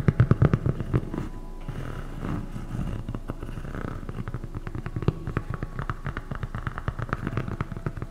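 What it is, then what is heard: Foam slide sandal. Long nails tap and scratch a light blue, thick EVA foam slide sandal with a hollow strap, held close to the microphone. Quick, dull, low thumps come in rapid bursts, then give way to a softer, steady scratching before the tapping picks up again.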